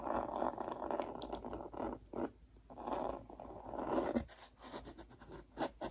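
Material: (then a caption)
Cardboard. Long painted nails scratch and tap the raised glitter texture patch on the coral page of a hand-held children's touch-and-feel board book with thick cardboard pages. Dense, raspy scratching comes in bursts with short pauses, mostly in the low-mid range. Toward the end, sharper, brighter taps cut in.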